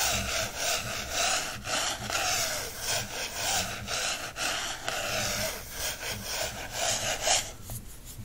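Fingers and then a wooden stick trace and scratch across the coated card back cover of a small paperback birds field guide. The result is a steady, bright, dry scratching and rubbing in repeated back-and-forth strokes, easing off toward a quieter end.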